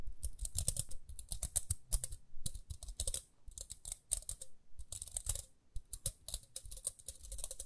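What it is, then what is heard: Plastic round hair brush. Long nails flick and tap the plastic teeth on the toothed rim of a small round pink plastic hair brush with dark bristles, held in both hands. The result is a quick, irregular run of bright, sharp clicks that die away instantly, each with a soft low thump beneath it, pausing briefly between bursts.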